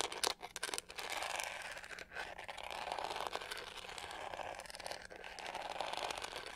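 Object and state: Plastic hair brush scratched with nails.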